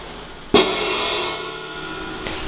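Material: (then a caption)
Metal. A damaged metal crash cymbal is tapped around one spot where a loose piece keeps rattling against it. A sharp, bright hit rings out with a buzzy, rattling wash that slowly fades, followed by a lighter tap near the end. The cymbal sounds broken, not as a cymbal should.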